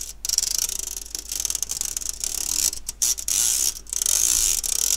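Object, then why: Stainless steel wire-mesh sieve. Fingernails scratch the wire mesh of an empty, round fine-mesh stainless steel sieve held by its handle. The result is a bright, dry, rasping scrape concentrated in the high range, arriving in ratchet-like bursts of rapid ticking separated by brief pauses, with almost no low end and no ringing afterward.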